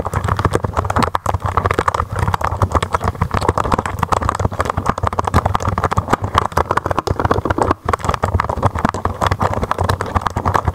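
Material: Plastic.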